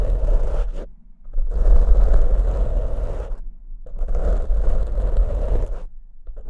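Fingertips of both hands scratch two matching large black foam windscreens of soft porous foam on studio mics. The result is dense, rough scraping in long bursts separated by short pauses, heavy with low rumble and a muffled mid-range crackle. There is no high sparkle.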